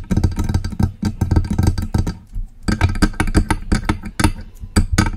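Long acrylic nails tap and scratch the body of a hollow, silver metal USB microphone. The result is a close, rapid series of dull, low-heavy taps with brief bright clicks and scratchy rasps, pausing briefly near the middle before the tapping resumes.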